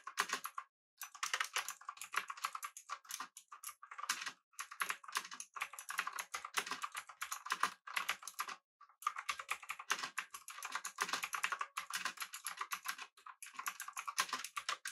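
A full-size backlit typewriter-style mechanical keyboard with blue switches, an aluminum body and round plastic keycaps is typed on rapidly with the fingertips of both hands. Dense bursts of sharp, bright clicky keystrokes run steadily through the clip, broken by a few brief pauses.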